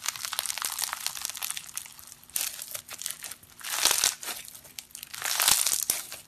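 Purple foam-bead slime (floam) made of polystyrene beads is stretched apart, pressed and kneaded with bare fingertips and thumbs on a grey surface. It gives a dense, bright crackling and crunching of many tiny pops, swelling into louder bursts of crunch near the fourth and fifth-to-sixth seconds.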